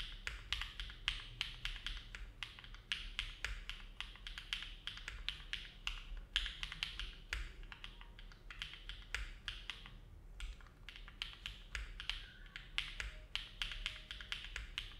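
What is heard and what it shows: Both hands' fingertips type slowly and continuously on a compact Neo70 mechanical keyboard with an aluminum plate, foam dampening and dark GMK plastic keycaps, resting on a desk mat. The result is a steady stream of soft, bright clacks, each with a faint low thump and a very short decay, separated by brief pauses.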